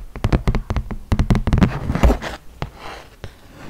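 A flat, solid cardboard horse-race game board, about 30 cm square, is held in the hands and tapped and scratched with long nails. Quick, dull taps land in an uneven rhythm, mixed with brief rough scratching.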